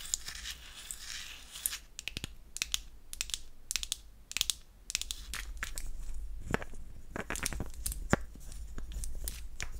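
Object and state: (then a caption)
Painted wooden toy perfume bottle. Long acrylic nails tap and scratch the face and side of a palm-sized, pink-painted wooden heart-shaped toy perfume bottle. Quick, sharp clicks mix with a bright, dry scratching rustle, with a low steady hum underneath. The taps are short with almost no ring.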